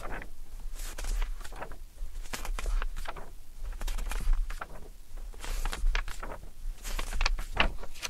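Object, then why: Thick glossy-paper magazine. Fingertips flip and riffle through the pages of a thick glossy-paper Vogue fashion magazine from December 2013, lying open on an orange towel. Bright, papery flutters and soft page-turn swishes come in irregular bursts over a steady low hum.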